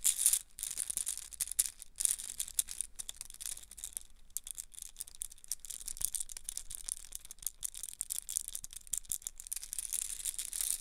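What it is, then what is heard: Plastic chain. A yellow plastic link chain with hollow links is shaken and handled with fingertips, so the links rattle against each other in a steady stream of quick, dry, bright clicks. The clatter is mostly high-pitched with almost no ring, and there is a brief lull around the four-second mark before the rattling picks up again.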